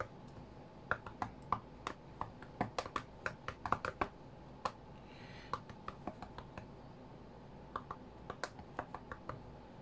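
Fingertips from both hands tap on the glass touchscreen of a flat white iPad, making about thirty short, dry clicks in an uneven, quick rhythm. Each tap is quiet and dies away almost instantly over a low, steady background hiss.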